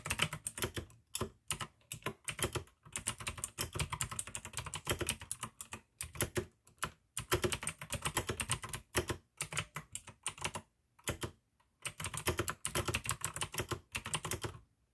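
Continuous two-handed fingertip typing on a full-size pink AUKEY mechanical keyboard with plastic keycaps and clicky blue switches. Bright, sharp clicks come in quick bursts with short pauses between runs, and each stroke has a low thock beneath it. The keystrokes stop almost instantly, with almost no ring.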